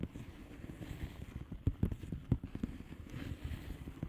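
Long painted nails on both hands tap and scratch the bubbles of a blue plastic bubble wrap mailer lying flat. The result is a quiet, steady stream of soft, dull, low-pitched taps with short dry decays and faint scratchy texture, broken by a few sharper, louder taps in the middle.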